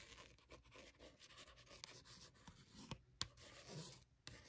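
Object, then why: Paperback notebook with card cover. Long matte nails scratch and tap across a small paperback notebook with a textured, cat-printed card cover and a solid paper block, lying on a blanket. Soft, steady papery scratching runs throughout, broken by five sharp, bright taps that die away almost instantly.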